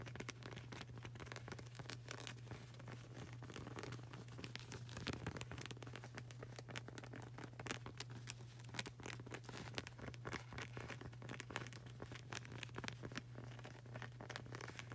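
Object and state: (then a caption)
Rubber flip-flop sole. Long nails and fingertips tap quickly over the solid, textured grey rubber sole of a flip-flop sandal. The result is a dense, quiet stream of sharp, scratchy clicks and patters over a steady low hum.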